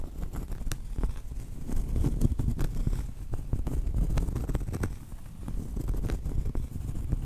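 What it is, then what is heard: Cork trivet. Long acrylic nails rapidly tap and scratch the flat face of a round solid cork trivet held up close. The result is a dense patter of soft, dull clicks and scratchy rustles, mostly low and muffled, with brief bright ticks.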